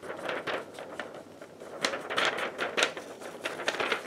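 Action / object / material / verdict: scrape / thin paper sheet / paper / none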